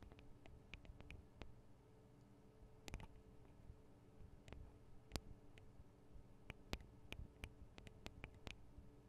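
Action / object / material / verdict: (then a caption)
tap / metal microphone capsules of a handheld recorder / metal / none. Long acrylic nails tap on the small metal-housed X/Y microphone capsules of a Tascam DR-40 handheld recorder, striking both capsules while that same mic records. Sharp, bright clicks land at irregular intervals and die away almost instantly. They sit over a quiet, steady low hum.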